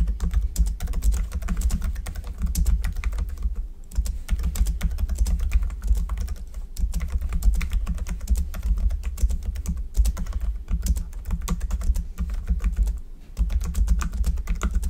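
Both hands type steadily with their fingertips on a black plastic computer keyboard, producing a dense, continuous stream of quick key taps. A steady low hum sits underneath the clicking, and the typing briefly pauses near 4 seconds and again around 13 seconds.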